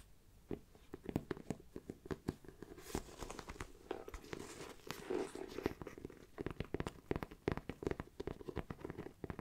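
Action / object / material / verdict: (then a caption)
tap / faux leather backpack side panel / faux leather / none. Fingernails tap and scratch the side panel of a hollow black pebbled faux leather mini backpack with a zipper and brown trim. Quick, dry, quiet taps carry a hollow low-mid thud, broken up by softer scratchy rustling passages in the middle.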